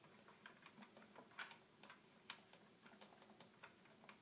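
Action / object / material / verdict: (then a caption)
tap / small plastic toy keyboard / plastic / none. Fingertips tap and click the small plastic buttons of a small, hollow red plastic toy keyboard in a fast ticking rhythm. The sound is quiet, dry and bright, with short clicks that die away almost at once and a couple of sharper, louder taps among them.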